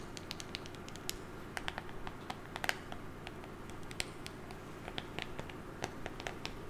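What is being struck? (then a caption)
Small printed cardboard box. A small, hollow, rectangular printed cardboard box with a white top and colored stripes is held in one hand near a fluffy microphone and tapped and scratched with long painted nails. Quick, sharp, bright clicks and light scratches patter irregularly over a steady, low, textured background, each tap dying away almost instantly.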